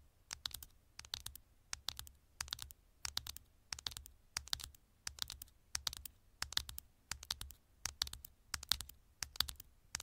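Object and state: Aluminium phone back tapped with nails.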